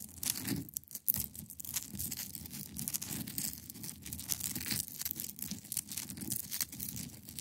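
Long pointed nails scratch across the top of a large, solid, clear ice block resting on a fabric surface. The result is a dense, continuous run of quick, bright, rasping strokes over a soft low rumble, with a brief quiet gap near the start.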